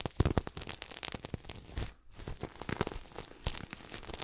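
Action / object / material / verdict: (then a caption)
scrape / sequin-covered throw pillow / sequins / none. Fingertips scratch and rub the sequins of a red and silver sequin throw pillow held close to the mic. It makes a dense, crackly rustle of quick, dry ticks with a low thumpy body and bright edges, pausing briefly near the middle before the rubbing resumes.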